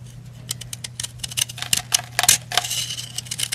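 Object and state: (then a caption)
Powdery bath bomb. A heart-shaped white and red pressed-powder bath bomb, held in the hand, is scraped with a metal knife blade, sending crumbly powder flying off. The result is a quick, uneven run of short, dry, bright scratching strokes that cut off almost instantly, over a faint steady low hum.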